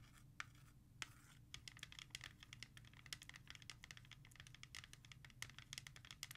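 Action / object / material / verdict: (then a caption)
tap / plastic CD jewel case / plastic / none. Long nails tap fast and scratch across the front of a hollow plastic CD jewel case, then the case is flipped and its back is worked the same way. Rapid, bright plastic clicks and scratchy rasps crowd together over a faint, steady low hum.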